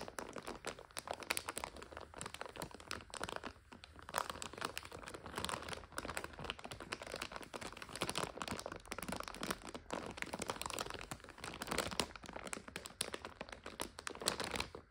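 Long nails scratch and tap a full plastic egg noodle bag resting on a couch. Dense, bright crinkling and crackling runs continuously through the whole clip, with quick taps mixed into the rustle and little low end.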